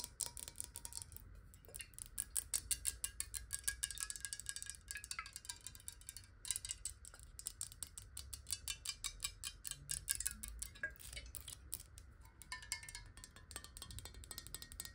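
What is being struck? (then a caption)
Glass bottle with water. Long nails tap rapidly on a clear square glass bottle filled with water, with a black cap, held in the hand. The sound is a dense stream of short, bright clicks with faint glassy ringing tones, over a low, quiet rumble.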